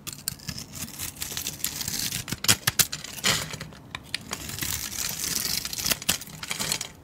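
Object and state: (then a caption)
Bar soap being shaved with a blade. A solid, speckled white bar of soap held in the hand is shaved and cut with a blade. The result is a dense run of crisp, bright scraping and crackling with sharp little snaps, mostly high in tone and with very little low end.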